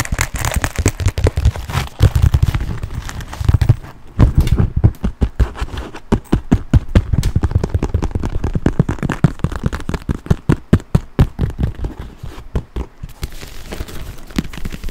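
Fingernails tap and scratch a black quilted leather handbag, making a fast run of short, dull, low-pitched taps mixed with soft scraping. The taps come in quick clusters with brief pauses and die away almost instantly.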